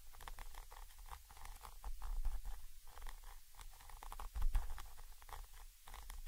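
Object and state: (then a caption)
Metal microphone capsule scratched and tapped. A thin orange stick held in the fingers scratches and taps the side of a Zoom H5 recorder's XY microphone capsule, a small chrome metal body with mesh grilles mounted on top of the recorder. Up close, irregular bright scratching strokes and soft taps sit over a heavy, booming low-end rumble and thumps around 66 Hz, rising and falling in short bursts.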